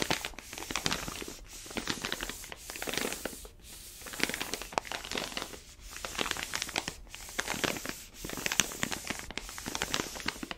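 A palm rubs and presses along the surface of an orange paper-foil coffee bag full of beans, held sideways. It makes bright, dry crinkling and crunching in repeated swells, each separated by a brief near-silent pause.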